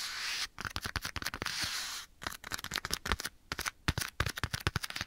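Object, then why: Leather glove. A black leather glove, worn on one hand and held beside the right ear of a binaural microphone, is tapped and scratched by the bare fingertips of the other hand. Two stretches of broad, bright scratching alternate with bursts of sharp, dry taps that die away almost instantly.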